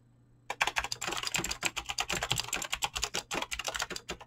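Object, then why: Mechanical keyboard with PBT plastic keycaps. Fast typing by fingertips on a Razer BlackWidow mechanical keyboard with clicky green switches and pink-blue dyed PBT plastic keycaps, starting after half a second of near silence. A rapid stream of short, bright clicks and clacks follows, each decaying almost instantly, with a faint low hum underneath.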